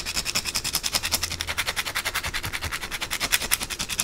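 Long blue acrylic nails scratch and rub quickly across the flat face of a white, solid rectangular bar of soap held in the hands, sending shavings falling. A rapid, fairly steady run of short, dry, bright scrapes follows, each stroke rasping and cutting off almost immediately, with little low-end body.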